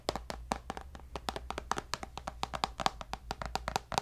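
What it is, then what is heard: Tablet glass screen tapped. Fingertips and nails tap quickly on the glass screen of a tablet with a white bezel in a black case, making 28 short, dry clicks with almost no ring. Each tap has a hollow tone around 770 Hz and a bright, crisp edge, over a faint steady low hum.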